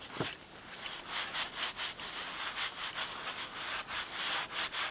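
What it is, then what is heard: Leather glove being rubbed. A soft, thin green leather glove lying flat on a towel is rubbed with a white cloth and pressed by fingers in blue latex gloves. Repeated bright, hissy rubbing strokes swell and fade in a steady rhythm, with a brief low thump near the start.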